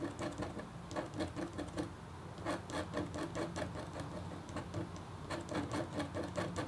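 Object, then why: Copper foil scratch art board with metal stylus. A red-handled, metal-tipped stylus scratches a thin, solid, flat black-coated copper foil scratch art board. A steady run of short, quiet scraping strokes has soft bright edges over a low hum, with a brief pause near the two-second mark.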